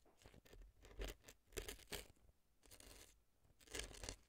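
A brown, wooden-looking earpick scratches the crumbly dry floral foam packed inside the left ear of a silicone fake ear resting on a dry floral foam block. The result is a series of short, dry, crunchy scraping bursts with a bright, tearing texture and a soft low thump under the strongest strokes.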